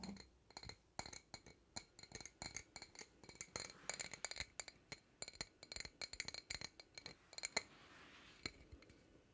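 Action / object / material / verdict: tap / empty glass jar / glass / none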